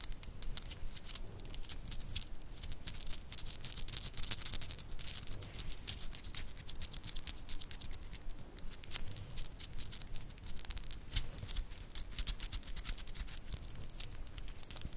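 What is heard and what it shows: A black wooden segmented bracelet with white stars is held in both hands while long nails tap and scratch its segments and bend it so the pieces click together. Dense, irregular bursts of short, bright clicks and scratchy ticks run steadily throughout, with a faint low rumble underneath.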